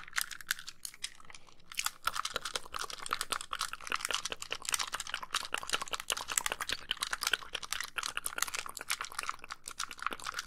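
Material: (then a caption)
Plastic. Long pink nails tap rapidly on the screen edges and casing of a white, hollow plastic handheld game console. The result is a dense stream of dry, bright clicks with almost no ring, sparse at first and then busier and louder after about two seconds.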